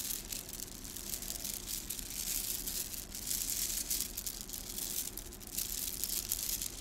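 A bunched strand of small gold plastic beads from a gold plastic bead garland is held in both hands, then rubbed and squeezed between the fingers so the beads click together. The result is a dense, continuous, bright rattling and clicking that swells and eases in loudness, over a faint steady low hum.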